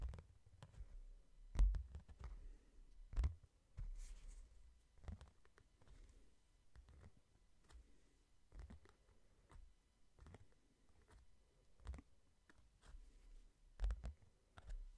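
A medium, solid hardcover book with a glossy London-print cover is held up in both hands and tapped slowly on the cover with fingertips and short nails. The result is quiet, irregular soft low thuds, with occasional sharper clicks from the nails that die away quickly.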